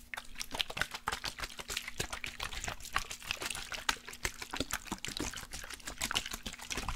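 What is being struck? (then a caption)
Glass perfume bottle with liquid. A glass perfume bottle with liquid inside is tapped rapidly and continuously, giving a stream of light, bright clicks. The liquid sloshes and trickles between the taps.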